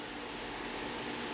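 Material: Nothing is struck.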